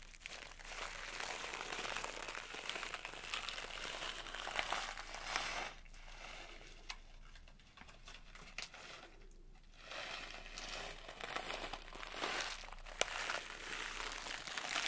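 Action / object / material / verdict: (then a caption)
shake / plastic pouch of sugar sprinkles / plastic / none. A small printed plastic pouch of blue sugar sprinkles is dangled and shaken by hand. It gives off bright, continuous crinkling and rustling with grainy rattling. The sound is busy for the first few seconds, softens to sparser crinkles in the middle, then picks up again with a few sharper crackles near the end.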